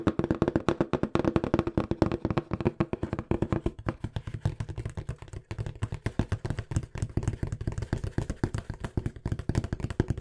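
Fingertips tap fast and aggressively on a small, hollow, empty-looking brown corrugated cardboard box held close to the microphone. The result is a rapid, steady stream of dry, short knocks with almost no ring. The first few seconds carry a hollow tone around 320 Hz, then the taps turn deeper and thumpier.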